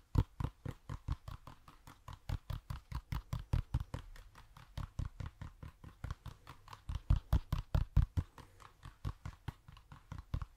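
A hollow toy pumpkin is tapped in a rapid, uneven stream of short, dull knocks with a low, boomy body and almost no ringing. Roughly fifty taps are heard over about ten seconds, rising and falling in strength.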